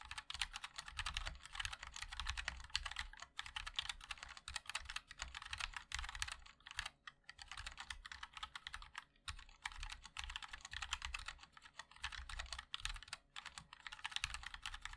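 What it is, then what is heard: Mechanical keyboard being typed on. A MOD-L 60% mechanical keyboard with a black aluminium case, white and black ABS keycaps and linear switches is typed on continuously with the fingertips of both hands. Quick, bright, clicky taps come in a steady stream with a soft low thud under each keystroke and very short decay, broken by brief pauses.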